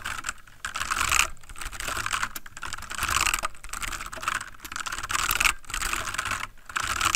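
Fingertips of both hands type rapidly on a full-size backlit plastic mechanical computer keyboard. A dense stream of bright, sharp key clicks comes in bursts separated by brief pauses. Each tap dies away almost instantly.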